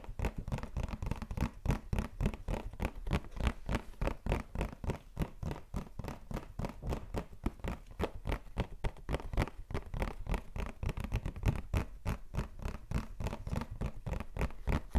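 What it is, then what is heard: Cardboard tissue box. A medium-size printed white cardboard Cien mouchoirs blancs tissue box, filled with tissues and held in the hand, is rapidly tapped and scratched with fingertips and nails. The result is a fast, somewhat uneven stream of short, dry, low-heavy taps mixed with scratchy rustling throughout.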